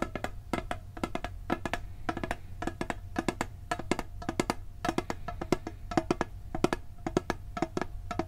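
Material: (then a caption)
Steel. Fingertips tap quickly on the lid of a hollow, round blue steel cookie tin in irregular bursts. Each tap is short and dry, with a hollow tone around 330 Hz that dies away almost at once. A steady low hum sits beneath the taps throughout.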